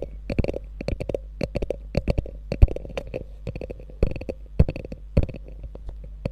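Long nails scratch and tap the quilted top and flap of a small, hollow beige quilted faux leather handbag with a gold metal logo, resting on fur. The result is a steady run of quick, dry taps and scratchy strokes with a soft, low, hollow thump beneath them and brief bright ticks. Each sound dies away almost at once.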